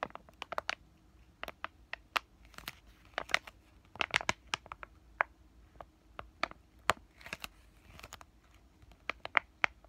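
A flat, white laminated plastic-foil pain patch sachet is crinkled and scratched with fingertips and short painted nails. Quick, sharp crackles and dry scratches come in irregular bursts over a quiet background, bright and crisp with almost no low end.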